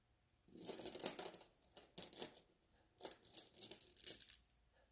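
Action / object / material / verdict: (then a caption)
scrape / glass beads in a mesh bag / glass / none. Fingertips rub and scratch across a flat net bag of small blue glass gem beads, making the beads shift and clink against each other. Quiet bursts of bright, crisp scratching and tiny clinks come in several short passes separated by near-silent pauses, with almost no low end.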